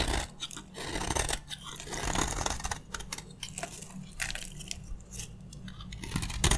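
A metal utility blade scrapes and shaves crunchy flakes off the face of a dry, rectangular solid green bar soap with a worn gold coating, held in one hand. Dense, dry crackling and scraping bursts fill the clip, with bright crunchy texture over a steady low hum.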